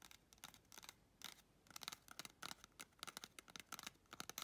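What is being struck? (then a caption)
Cardboard tube. Long red chrome nails scratch and tap the rim and outer wall of a small, hollow, empty brown cardboard toilet paper tube. The result is a quick, irregular run of dry, bright clicks and papery scratches with almost no low end. Each sound dies away almost instantly, leaving no ring.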